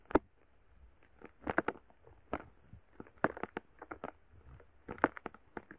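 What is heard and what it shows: A wooden stick pokes and drags through a soft, solid, palm-sized lump of purple foam bead slime (floam) resting on a microphone. It makes quiet, dry crackles and sharp little pops in uneven bursts. Each snap is short, with no ring after it.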